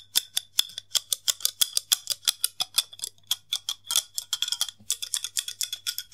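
Fingertips repeatedly open and snap shut the hinged lid of a long, thin, hollow white plastic case held in both hands. The result is a steady run of sharp, dry clicks that die away almost instantly, bright and centred around 3.4 kHz, with no low end. The clicks come faster and bunch together toward the end, over a faint low hum.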